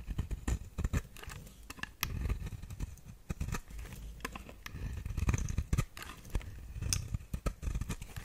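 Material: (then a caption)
Soap. A metal blade scrapes and carves shavings off the face of a round, solid brown bar of soap held in the hand. Repeated short, crisp scraping cuts with brief bright clicks sit over a dull, low-heavy rasp that swells and fades between strokes.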